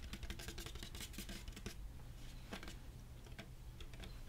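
Fingernails tap and scratch on a hollow, medium-sized red plastic drink cooler jug with a white lid. A rapid run of bright, dry clicks comes first, then a few sparser taps and light scratches. A steady low hum sits underneath throughout.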